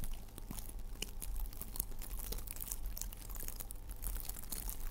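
Blue sparkly tinsel garland strands of metallic plastic are held in both hands and squeezed and rubbed with the fingertips close to the microphone, possibly brushing the mic grille. The result is a steady, dense crinkling and rustling with bright, crackly ticks over a constant low hum.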